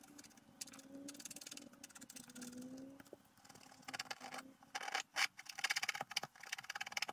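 A wooden stylus scratches lines into the black coating of a flat scratch-art paper sheet resting on a table. The steady, bright, dry scratching is soft at first with a faint low wavering tone underneath, then grows louder in quick, sharp strokes toward the end.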